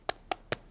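Three short, dry taps on a fiberglass bandage cast on an arm, struck to check whether it has set. Each tap is a crisp, knock-like click with a mid-range tone around 740 Hz, almost no low end, and no ring. The cast is set: dry and hard.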